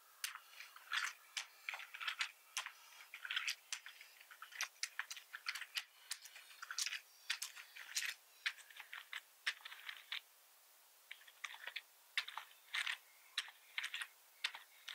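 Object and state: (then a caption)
Plastic computer keyboard. Fingertips of one hand press and tap the keys of a black plastic full-size computer keyboard with red keys resting on a wooden desk, typing while the mouse goes untouched. Quick, bright plastic clicks and clacks come in uneven bursts with a short pause in the middle, each keystroke dying away almost at once.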